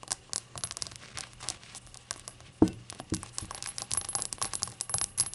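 Long acrylic nails tap the rainbow glaze and the unglazed white base of a small, hollow, apparently empty ceramic novelty shot glass resting on a towel. Quick, bright clicks and ticks come in a steady flurry. A few louder knocks, including one sharp hit midway, bring out a short, low, hollow ring.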